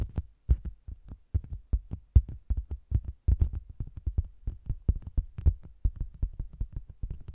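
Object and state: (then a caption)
Faux leather cosmetics bag, tapped. Long green-painted nails and fingertips tap and scratch the flat red printed end panel of a round, cylindrical zebra-striped faux-leather (PVC) cosmetics bag, which is hollow with a microphone inside. The result is a rapid, uneven series of deep, muffled, boomy thumps that die away almost instantly, with faint scratchy ticks riding on top.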